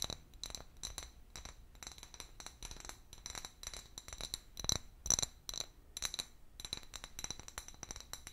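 An empty, medium-sized, hollow clear glass bottle with a paper label is held in one hand and tapped with long fingernails. It makes a quick, irregular run of bright, high clinks with short, clicky decays. A few louder taps stand out near the middle.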